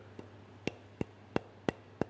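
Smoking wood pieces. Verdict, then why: Dry. Pieces of smoking wood, kiln dried and then seasoned in dry stores for about two years, are knocked together six times, the first knock faint and the rest sharp. Each knock is a short, dry, hollow clack that stops almost instantly, showing the wood is very dry.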